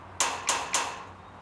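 A metal fence is tapped at its far end while someone listens with an ear pressed against it. Three bright, clanging taps ring out in quick succession, each fading briefly. The sound reaches the ear on the fence before the other ear because sound travels faster through metal than through air.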